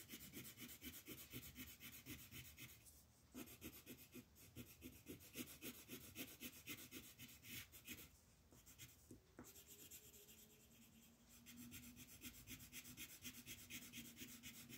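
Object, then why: Printed paper sheet shaded with a wooden colored pencil. A green wooden colored pencil shades a thin printed paper coloring page lying flat on a table, while the other hand, with long nails, holds the sheet. It makes steady, quiet, bright scratchy rubbing strokes at about four per second, with short pauses near the 3- and 8-second marks. A faint low steady tone sits under the strokes in the later part.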